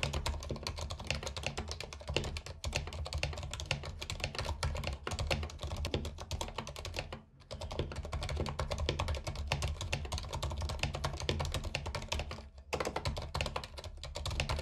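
Fingertips type continuously on a compact white mechanical keyboard with plastic keycaps and RGB backlight, resting on a carpet. A dense stream of quick, clacky keystrokes with a full low thud under them and very short decay. It stops briefly about halfway through and again near the end.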